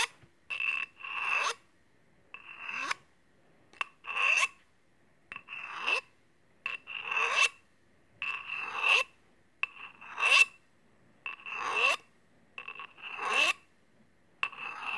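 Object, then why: Steel scissors blade against a steel honing rod. Open steel kitchen scissors, held in hand, have a blade rasped against a steel honing rod in repeated, slightly uneven strokes. Each stroke gives a bright metallic scrape with a ringing tone near 2.7 kHz, and the strokes come in clusters separated by short silences.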